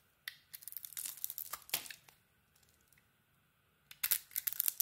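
A metal blade carves chunks and shavings from a hand-held solid orange soap bar with a black glitter coating, making repeated scraping cuts. Crisp, bright scraping and tearing sounds come in quick bursts, go quiet through the middle, then return in a final flurry of short, dry strokes.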